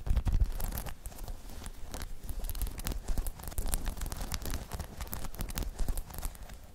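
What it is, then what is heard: Spiky rubber balance pod, scratched and tapped. Long chrome nails scratch and tap across a hollow, dome-shaped spiky rubber balance pod, making a dense run of quick scraping and clicking strokes. Soft, dull low thumps sit beneath bright, dry flicks, each stroke dying away almost at once.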